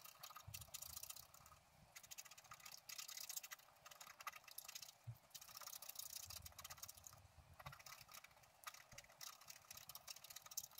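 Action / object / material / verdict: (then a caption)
scrape / black-coated scratch-art paper card scraped with a wooden stylus / coated paper / none. A wooden stylus scratches the leaves into a flat scratch-art card of black-coated paper, held down with one hand. The sound is a steady run of dry, bright scratching strokes with short pauses between bursts, plus a faint low rumble underneath.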